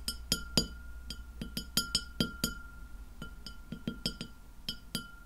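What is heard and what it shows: A white glass plate lying flat is tapped by the long nails of both hands. The taps come in an irregular run of about seventeen separate ringing clinks with bright, high overtones. Each clink decays quickly over a faint steady tone.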